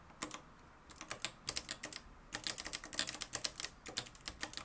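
Fingertips type continuously on the dark plastic keys of a mustard-yellow, plastic-cased manual typewriter with a metal mechanism. The result is a rapid, uneven run of sharp, bright clacks with almost no low end and very short decay, with a brief lull just before the 2-second mark before the typing picks up again.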